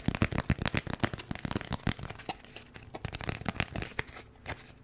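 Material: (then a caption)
Cardboard. A small brown kraft cardboard box, held in the hands and moved around the mic, is tapped and scratched with the fingertips. Quick, irregular hollow taps with a low thump and short papery scratches come fast, then grow softer and sparser in the second half as the box moves.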